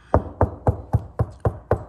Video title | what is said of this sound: Can You Install a EV Wall Charger Without Trouble? | nice and solid right here